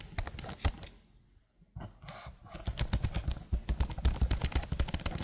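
Long blue nails type and tap on the keys of a slim black plastic keyboard. Quick, irregular clicky taps with dull low thumps and bright ticks drop into a brief near-silent pause about a second in, then return as a denser, louder run of typing.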